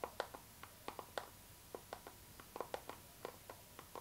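Long nails tap and scratch a transparent pink PVC vinyl zipper pouch held horizontally in both hands. The result is a quiet, irregular series of short, dry plastic clicks, centered in the mids around 500 Hz–1 kHz with brief bright edges. Each click dies away almost instantly, and faint scratching fills the gaps between them.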